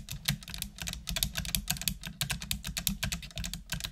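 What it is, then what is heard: Plastic computer keyboard being typed on. Continuous typing with long nails on a full-size black plastic computer keyboard with hollow plastic keys. A rapid, uneven stream of bright, clicky taps, each dying away almost instantly, over a steady low hum.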